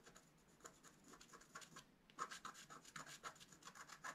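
A wooden stylus scratches fine lines into a flat, black-coated scratch art card. Quiet, bright, dry scratching strokes come in a rapid series; they are softer at first, pause briefly around the two-second mark, then grow crisper and louder.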